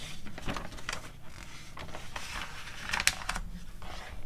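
Long nails tap and rub across the pages of an open glossy paper magazine catalog, and a page is flipped. Crisp, bright paper scratches and short dry taps ride over a low, steady rumble, with one sharper snap near the end.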